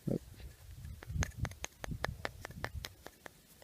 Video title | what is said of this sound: Metal Detecting - Roman Coin Madness! | you can also hear it's hollow